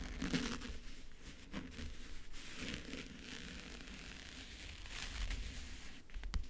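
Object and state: Backgammon case with a paper-covered lid, scratched and tapped.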